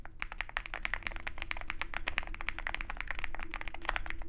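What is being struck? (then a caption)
Mechanical keyboard with plastic PBT keycaps. A compact 65% mechanical keyboard with a dark case, white PBT keycaps and Zoom65 branding is typed on continuously with the fingertips of both hands. The result is a rapid, steady stream of short, crisp clacks with bright tops over a low steady hum, each keystroke dying away almost instantly.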